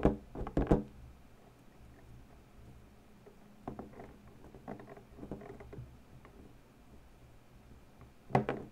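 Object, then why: Inflated latex balloon. Long pointed natural nails press, tap and scratch an inflated purple latex balloon, hollow and air-filled, denting the latex. Dull, hollow thunks with short, muffled decays cluster at the start and return at the end, with quiet, irregular soft scrapes and light taps in between.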